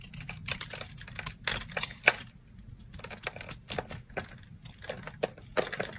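A solid rectangular pink bar of dry soap, held in the hand, has its surface carved into flakes with a yellow box-cutter blade. A rapid series of crisp, dry scraping crackles and sharp clicks sounds, bright and short with almost no ring. Quiet low rustling runs underneath.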